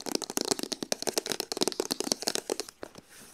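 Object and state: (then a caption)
Cardboard box sleeve, tapped with nails. A long, flat, hollow printed cardboard sleeve from a hair straightener box lies on the floor and is then picked up. Long acrylic nails tap and scratch quickly across its printed surface in a rapid run of dry, bright clicks and scrapes. The sound dies out at the end into a faint hiss.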